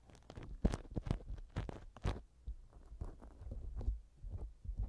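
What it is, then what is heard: Silicone pick scraping a silicone ear cover. A black silicone ear pick rubs and scratches inside the left silicone ear cover of a TASCAM microphone, producing close, muffled thumps and scrapes. The sound is dominated by deep low rumble, with short bursts of brighter scratchy friction.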